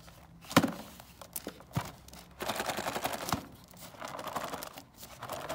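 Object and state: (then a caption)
Cardboard kit box. A closed cardboard gingerbread kit box is tapped with fingernails and tilted or shaken by hand. Sharp, dry taps alternate with crinkly, rattling shuffles as the contents slide inside, with the loudest tap near the start and steadier rustling through the rest.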